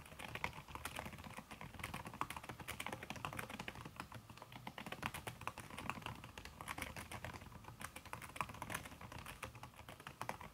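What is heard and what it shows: Fingertips with long red nails type fast on a backlit aluminium laptop keyboard fitted with a red silicone key cover. The result is a steady stream of soft, muted taps with short, dry clicks and a bright edge throughout.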